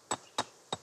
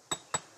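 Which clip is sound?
The second.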